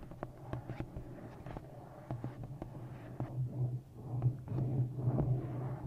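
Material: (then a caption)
Paper. Fingertips and long nails tap and scratch the front cover of a thick, solid, black glossy paperback novel held on the microphone. Dull, close taps and short scratches come at an uneven pace over a low, muffled hum, growing a little louder and denser toward the end.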